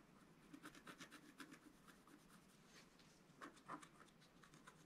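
A wooden stylus scratches lines into the coating of a flat, black-coated scratch-art paper card. Quiet, dry scratching comes in an uneven run of short, rasping strokes. The strokes carry bright, high-edged streaks over a soft low-mid scraping body, with two slightly stronger strokes near the end.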